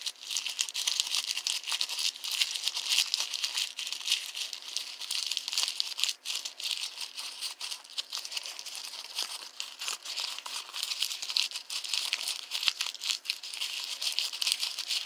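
A small crumpled paper receipt is held in one hand and squeezed and rubbed with the fingertips. It produces a continuous, dense crinkling and crackling that is bright and thin, with no low end. Sharp little snaps stand out over the steady rustle throughout.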